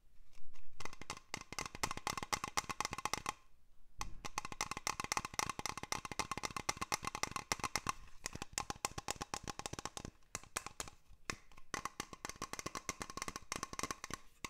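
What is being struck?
Small glass dome terrarium.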